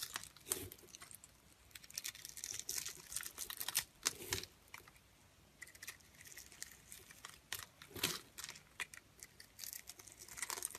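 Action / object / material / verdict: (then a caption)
scrape / bar of soap scraped with a metal blade / soap / none. A solid, hand-sized purple striped bar of soap is held in the palm and scraped with a metal blade, breaking off small cubes. The sound is a quiet series of crisp, dry scraping and crackling bursts, mostly bright with little low end, separated by short near-silent pauses.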